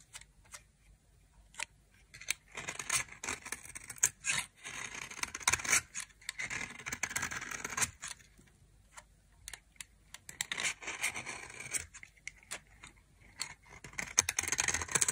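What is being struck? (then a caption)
Soap bar scraped with a knife. A knife scrapes and carves a dry white soap bar with a red rim, sending shavings falling off. Bursts of bright, crisp scraping and scratching come in uneven runs, with sharp clicks and brief quiet gaps between strokes.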